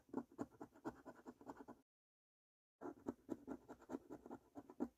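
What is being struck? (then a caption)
Paper scratch card with latex coating, scratched with a coin. A coin scratches the panels of a thin, flat paper National Lottery £15 3x £1 Million Snack Stack scratch card with a latex coating. It makes quick, dry, rasping strokes in rapid bursts, split by about a second of silence. The scraping is soft and centred in the low mids, with little deep bass.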